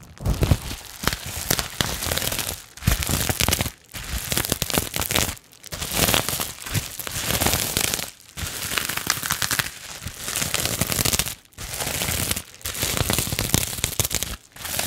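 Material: Plastic.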